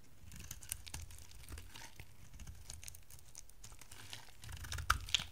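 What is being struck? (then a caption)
Bar of soap shaved with a metal knife. An oval orange and blue bar of dry solid soap, held in the hand, is shaved into thin flakes with a metal utility knife. Soft, dry crackling and scraping crinkles run over a low background rumble, growing denser and louder toward the end, with a few sharp, bright snaps as the blade cuts through.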